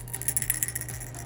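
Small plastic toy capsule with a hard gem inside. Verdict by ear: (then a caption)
Full. A small plastic toy plasma cell capsule from an alien dissection kit is shaken to check for a gem inside. A quick series of bright, high-pitched clicks and rattles is heard over a low steady hum. The gem is confirmed to be inside.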